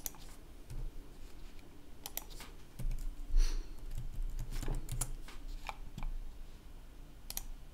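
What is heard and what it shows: Fingertips type continuously on the keys of a red-backlit plastic laptop keyboard. Bright, short clicks come at an irregular pace over a steady low hum.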